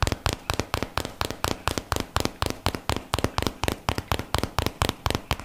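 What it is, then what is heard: Cardboard box tapped with fingertips. Fingertips tap a small, hollow, closed rectangular white-and-teal printed cardboard box held in both hands close to the microphone. About 26 quick, dry taps come in a loose, uneven rhythm, each a short papery snap with a hollow low thump that dies away almost at once.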